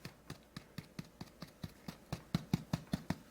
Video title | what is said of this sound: No-knead Pumpernickel Loaf | Still sounds hollow, which is what it's supposed to sound.